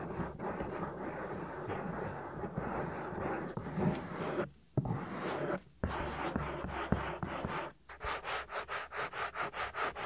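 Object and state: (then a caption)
Silicone microphone ear being rubbed and scratched. Fingertips with medium-length nails rub and scratch the outer ear of a soft, solid silicone ear on a 3Dio binaural microphone. A close, dense scratching and rubbing texture runs continuously, broken by brief silences near 4.5, 5.7 and 7.8 seconds. It ends in a steady run of rhythmic, evenly pulsing strokes.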